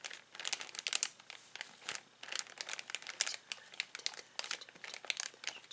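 A clear plastic zip bag of toys is gripped, rubbed and crinkled by fingertips. Bright, dense crinkling comes in quick, irregular bursts, with no low end.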